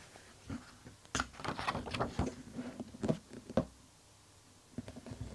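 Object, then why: Softcover book with glossy paper pages. Fingertips and a flat palm rub and brush across the glossy printed paper pages of a large softcover Splatoon art book lying open, then the pages are turned. Soft, irregular papery swishes and brushing bursts rise and fall, with a quiet pause before a few more light strokes at the end.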